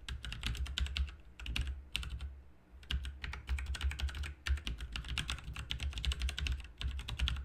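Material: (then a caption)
Plastic. Fingertips of both hands type continuously on a full-size backlit RGB mechanical keyboard with plastic keycaps and hollow key switches. Rapid, bright, clicky key taps run in quick bursts with brief pauses, each tap short and dry over a steady low hum.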